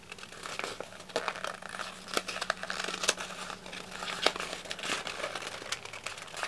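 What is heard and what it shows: A thin sheet of red patterned wrapping paper, already crumpled, is held close and squeezed and crumpled by the fingertips of both hands. It makes a steady, bright crinkling with scattered sharp crackles and almost no low end.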